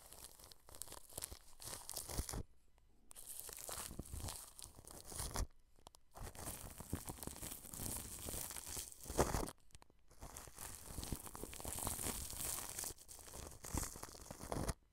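A wide flat brush rubs back and forth across plastic cling film stretched over a microphone. The result is a continuous crinkling, rustling scrape with bright hiss and a deep rumble. Short pauses break the rubbing around 2.5, 5.5 and 10 seconds.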